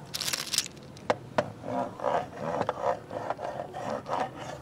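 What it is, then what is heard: Wooden segmented toy rattling and scraping. A jointed wooden segmented crocodile toy is held up and shaken, then wiggled along a tile floor by fingertips. Its wooden segments give quick, bright rattling clicks at first, then a run of soft, rhythmic rubbing scrapes with a mid-pitched hollow tone.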